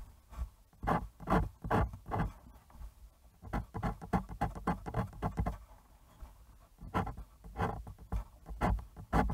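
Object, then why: Bristol paper sheet. A fine fountain pen nib draws ink lines across a thin, smooth white sheet of bristol paper resting on a cutting mat and held flat by one hand. A quick, uneven run of short scratchy strokes, roughly two per second, comes through soft and low-weighted, with brief pauses between bursts of lines.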